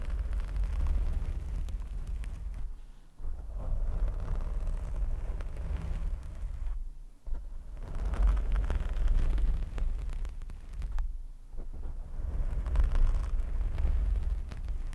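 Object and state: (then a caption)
Foam microphone windscreen being scratched. A black foam windscreen on a microphone is scratched and rubbed from both sides by fingertips and short nails. The result is a dense, muffled, booming rumble, almost entirely low in pitch, broken by brief near-silent gaps around 3, 7 and 11 seconds.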